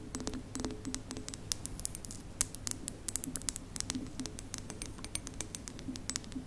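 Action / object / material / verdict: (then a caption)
tap / ceramic mug with ceramic lid / ceramic / none. Long nails tap rapidly on the side of a large, hollow, white printed ceramic mug with a ceramic lid, held up by its handle. The taps are short, bright clicks that die away almost at once. Underneath them is a faint, steady low hum.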